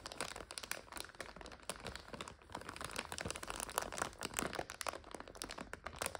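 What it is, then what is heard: Plastic bag of dry noodles. A full clear plastic bag of dry egg noodles is pressed with both hands and scratched with long nails. Dense, bright crinkling of the plastic mixes with sharp, crackly crunches of the noodles inside. It runs as a continuous stream of quick, closely spaced bursts.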